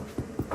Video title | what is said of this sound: MOSE PERSICO at Boulangerie SanPietro Bakery | It's like it's not echoing